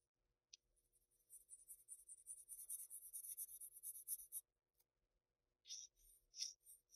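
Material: Paper.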